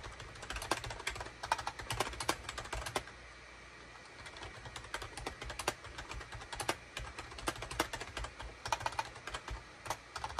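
Fingertips of both hands type rapidly on a full-size gray, cream and orange SHIPADOO K600 wired USB plastic keyboard with a hollow plastic housing, resting on a desk mat. Dense bursts of short, bright, clacky keystrokes die away almost instantly, with a brief quiet gap about a third of the way through before the typing resumes.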